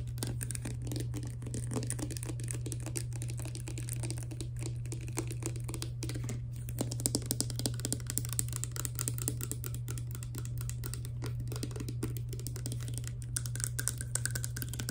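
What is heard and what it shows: Fingertips and long nails tap rapidly on the green plastic pump head and clear plastic body of a partly filled hair serum pump bottle. The result is a dense run of quick, light clicks and ticks over a steady low hum.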